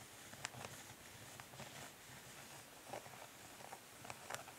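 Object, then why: Plastic makeup palette case. Long nails lightly scratch and tap the underside of a flat plastic eyeshadow palette, a hollow case of dark translucent ridged plastic. A quiet, steady scratchy texture runs throughout, broken by four sharp, bright clicks that stop almost instantly.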